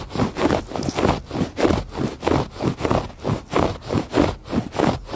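Fingers scratch the textured surface of a woven fabric rug in a steady back-and-forth rhythm. Each stroke makes a soft, dry, rustling scrape, mostly low and midrange with little high content, swelling and fading with each pass.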